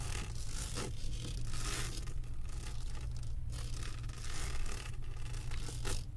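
Long acrylic nails on one hand scratch across the resin drill beads of a flat diamond painting on canvas board. The result is a steady, bright, dry scraping and rustling in repeated strokes, over a constant low hum.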